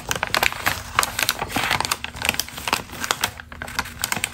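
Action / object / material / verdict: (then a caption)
scrape / glossy magazine paper page / paper / none. A single thin, pre-crumpled glossy magazine page printed with a text article is held flat and then lifted in both hands while long green acrylic nails scratch and crinkle it and the hands rub and flex the sheet. The result is a dense run of crisp, bright crackles and sharp papery ticks with very little low end, each snap dying away almost instantly.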